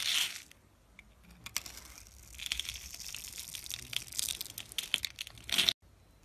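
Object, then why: Bar of soap scraped with a metal blade. A metal blade scratches a grid into the face of a solid, hand-sized, opaque blue-and-white striped soap bar and flakes off small cubes. The result is bright, dry scraping and crisp crunching crackles, with louder bursts at the start and just before the end and quieter scratching in between. The sound cuts off abruptly near the end.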